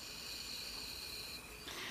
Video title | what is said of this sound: Fermentation Starter : Making, Using, Refreshing | Now it's from shaking it. See, it's already fermented.